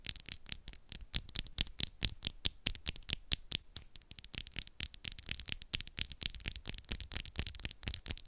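Long nails on one hand rapidly tap and scratch a set of long coffin-shaped acrylic nails, which are pink and black with moon designs, small and solid. The result is a dense, irregular stream of sharp, bright clicks with very short decay over a faint low rumble, mixed with brief scratchy rasps.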